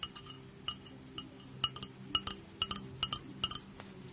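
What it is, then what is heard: Glass mug with lid. Long acrylic nails tap and scratch a small clear glass mug with a handle and lid, held close to the microphone, striking both the glass body and the lid rim. About fifteen quick, irregular clinks ring briefly with a bright, bell-like tone near 2.9 kHz, over faint scratching and a soft low background hum.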